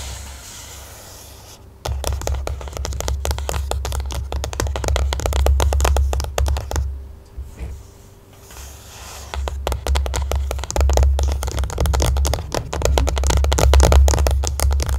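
A closed white printed cardboard smartphone box lies flat and is tapped and scratched with the long nails of both hands. After a quiet start, dense, rapid clicking taps and dry scratches begin, carried by a hollow, low cardboard thump. The sound eases into a brief lull midway, then picks up again with quick, uneven tapping to the end.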